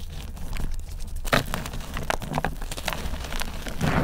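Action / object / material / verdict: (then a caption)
scrape / dried gym chalk and cornstarch block / chalk, cornstarch / none. Hands break chunks off a multicolored, layered dried mudpie block made of gym chalk and cornstarch and crush them into the pile of powder. Dry crunches and crumbly crackles come in quick bursts over a soft, low, muffled base, with brief brighter snaps as pieces break.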